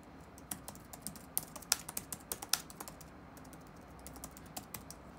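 Fingertips of both hands rapidly tap the black plastic keys of an open laptop with a solid keyboard deck, resting on a wooden desk. Fifteen crisp, bright clicks come in an uneven run, each dying away almost instantly, over a faint low hum.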